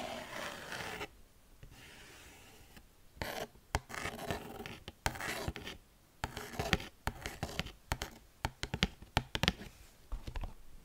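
Long fingernails scratch and rub a small, thin, hollow white cardboard packaging box. Soft, airy rubbing passes give way to bursts of dry, papery scraping and a run of quick, sharp scratches with a bright edge and a faint hollow body. Each stroke stops dead with no ring.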